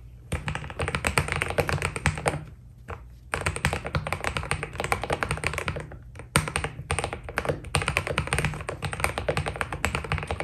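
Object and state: Mechanical keyboard with PBT keycaps.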